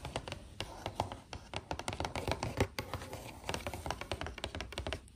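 Long acrylic nails tap and scratch across the front panel of a hollow, printed cardboard biscuit box. A rapid, irregular run of dry clicking taps, each with a short hollow low thud and a bright scratchy edge, continues steadily with quick scraping strokes in between.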